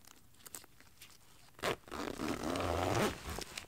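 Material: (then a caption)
Nylon. A black lightweight nylon windbreaker jacket lies flat on carpet while fingertips with long painted nails pull its zipper and handle the crinkly shell fabric. Soft scattered rustles give way to a sharp zip burst, followed by a longer, louder stretch of rubbing and crinkling that fades back to quiet fabric sounds.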